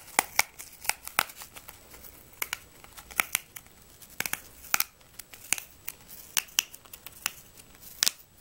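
A whole, solid yellow-red apple is held in the hands and tapped and scratched with long nails. The result is a rapid, irregular series of sharp, bright clicks and short scrapes with almost no low end, each dying away almost instantly over a quiet background.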